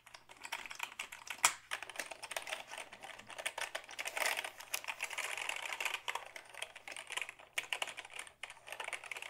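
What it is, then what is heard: Plastic computer keyboard. A black Dell hollow plastic keyboard is held up and typed on with the fingertips, giving a rapid, uneven stream of short, bright plastic clicks and clacks with almost no low end. One sharper clack stands out near the start, and each tap dies away almost instantly.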